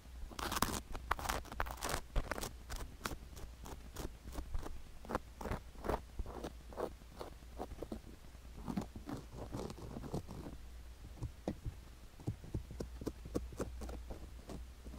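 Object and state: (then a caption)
Sugar-coated silicone ear microphone. A wooden stick scratches the canal and upper rim of a sugar-covered silicone ear microphone, producing a rapid series of dry, crunchy, crackling strokes. The short, sharp bursts repeat throughout over a steady low hum.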